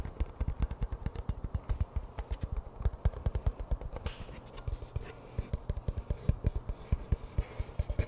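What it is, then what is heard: Cardboard chip can. Fingertips tap and scratch the side and end of a hollow cardboard-composite Pringles chip can held in both hands. A steady run of quick, dull, low hollow thuds follows, each dying away almost instantly, with faint scratchy brushing between the taps.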